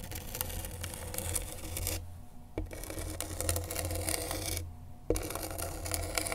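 A pen tip held in a gloved hand scratches and traces across the coarse, sandpaper-like grip tape of a skateboard deck, making a steady gritty rasp over a low hum. The scratching breaks off twice into quieter gaps, each ending with a sharp tick before the rough, bright scraping resumes.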